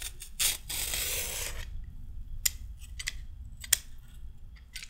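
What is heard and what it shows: A pink-handled peeler with a metal blade scrapes along a short raw carrot in quick, irregular strokes. The strokes are bright and crisp, with a longer sustained scrape early on, then sharp snappy flicks, over a faint low rumble.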